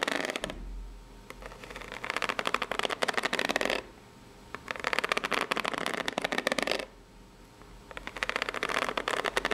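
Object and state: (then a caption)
Corrugated cardboard box. Long nails scratch the ribbed surface of a small, hollow, brown corrugated cardboard box near its layered edge. The result is three bursts of dense, dry rasping with quick ticking scrapes, bright and papery, separated by short quiet pauses.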